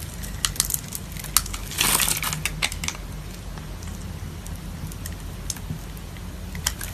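A metal blade scratches a grid into the surface of a solid oval pink soap bar held in the palm, then cuts small soap cubes off the scored area. Sharp, bright scraping clicks and crunchy cuts sound over a low steady rumble, with a louder gritty scrape near two seconds.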